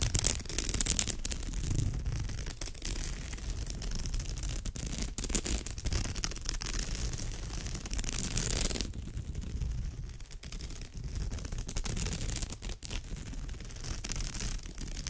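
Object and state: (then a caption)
Woven straw bag scratched. Fingertips and long nails scratch across the weave of a woven straw bag, making a steady, dense scratching and rustling with a low rumble underneath and a bright, hissy edge. Around the nine-second mark the bright hiss drops away and the scratching turns duller before brightening again toward the end.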